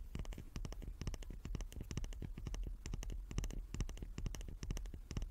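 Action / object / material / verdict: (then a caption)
tap / small wooden cube / wood / none. A small wooden cube is tapped repeatedly in quick, irregular bursts of short, dry knocks. Each tap has a low, soft thud with a brief bright click and dies away almost at once, over a faint steady background hum.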